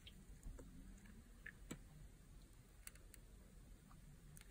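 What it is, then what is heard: Dry bar soap, crunchy when shaved. A metal knife blade scrapes and cuts thin, crunchy slices and flakes from a solid, translucent yellow bar of dry soap held in the hand. Quiet, short crackling clicks and bright ticks sit over a low, soft rumble, with a sharper crunch at the very end.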